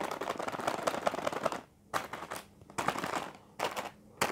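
Fingertips and nails of both hands tap rapidly on a single larger sealed plastic-film packet of Indomie Mi Keriting Ayam Panggang instant noodles, full with a curly noodle brick inside. A dense run of quick, crisp, crinkly plastic taps lasts about a second and a half, then shorter bursts of tapping return between brief quiet pauses.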